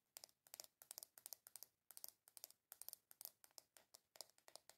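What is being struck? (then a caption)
Small round plastic container tapped with fingernails. Long nails tap and scratch quickly on the lid of a small, hollow, round black plastic container with a W logo. The sound is a rapid run of sharp, bright clicks and scrapes in quick clusters, with almost no low end. Each tap dies away at once.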